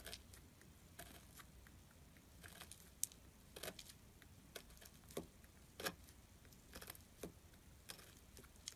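A metal carving tool scratches and carves flakes from the side of a solid gray glittery soap bar. Quiet, crisp, bright scraping clicks come in short irregular bursts over a low, steady background hiss, each stopping dead with no ring.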